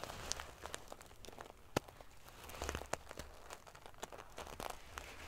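Fingernails scratch and ruffle the silver metal paillettes covering a sequin pillow. The result is a quiet, dense stream of crinkly, scratchy clicks and bright metallic ticks, with a few sharper snaps standing out over a soft, low rustle.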